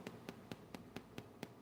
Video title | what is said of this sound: Part 3 Homemade Cloth Doll | knock on wood knock on porcelain